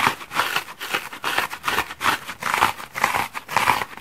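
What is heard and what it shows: A multicolored patchwork bath sponge of solid porous foam is held in one hand and scratched hard with fingernails, gouging its surface and dropping small foam crumbs onto the wooden table below. Repeated dry, rasping scratches come in uneven bursts about twice a second, centered around 1 kHz with a bright, hissy edge and almost no low end.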